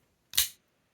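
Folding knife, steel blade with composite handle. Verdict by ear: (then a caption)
Strong detent. A folding knife with a steel blade and G10 handle scales is flicked open with the middle finger, and once the detent breaks the blade shoots out. A single sharp, bright snap is heard, mostly high-frequency, and fades quickly. The sound shows a good, strong detent.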